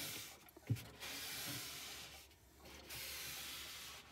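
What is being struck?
Plastic mini fridge interior liner.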